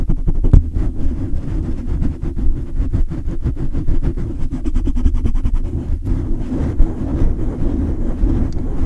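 Hands grip and cup a large silver condenser microphone with a hollow metal mesh grille, while fingertips rapidly rub and scratch the grille. The result is a dense, boomy low rumble full of quick thumps and scraping crackles, with almost nothing in the high range.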